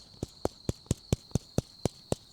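A finger taps nine times on the head of a live, not fully grown cane toad held up close to a microphone, making short, dull knocks with very little ring. The sound reflects the toad's hard, bony head and warty, tough skin.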